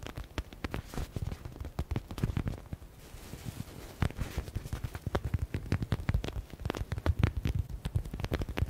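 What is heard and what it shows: A soft, yellow, stitched smiley stress ball with a faux leather synthetic cover is tapped and scratched across its panels by fingernails. Quick, dull taps and scratchy rustles are heard, mostly low and muffled, with a brief quieter stretch of scratching near the middle before the fast tapping resumes.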